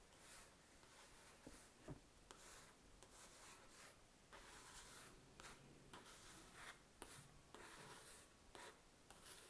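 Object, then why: Paper notepad sheet on a table. Fingertips rub and trace over the written letters on a grid-paper notepad sheet lying on a table. The result is a quiet, steady papery rubbing with a bright hiss, broken by a few soft ticks and brief louder swipes.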